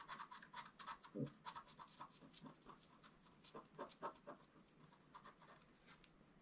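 A wooden stylus scratches the black layer off a flat scratch art card of black-coated paper over metallic foil, working near the right edge of the design. Short, dry scraping strokes repeat irregularly at about four per second, each a brief rasp with a mid-range whirr and a high, airy hiss. One stroke just after the first second is louder and carries a lower, rougher scrape.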